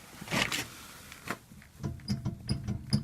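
A broken steel front hub bearing in the left front wheel of a VAZ car produces nine dull, short clunks and knocks with low-frequency thumps and brief higher clicks. The knocking comes from play in the worn-out bearing, which needs replacing.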